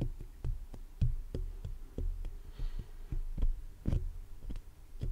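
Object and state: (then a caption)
Metal mesh microphone grille. Fingertips and short nails tap and scratch the black metal mesh grille of a large hollow condenser microphone. A quick, uneven series of dull, deep thumps rings out, each dying away almost at once over a faint scraping hiss.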